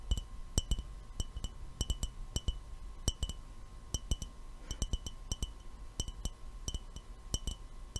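An empty, hollow clear glass mason jar with no lid is held in both hands and tapped with the fingernails, producing a steady series of short, bright, glassy clinks in an irregular rhythm. Each tap rings only briefly over a soft, constant low rumble and a faint steady tone.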